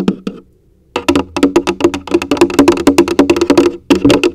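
A large, hollow orange plastic coffee canister, likely empty, is tapped with long acrylic nails and fingertips, first held upside down and then upright. Two quick taps and a short pause lead into a fast, steady run of hollow, knocking taps with a woody tone around 280 Hz and bright nail clicks. Each tap dies away quickly.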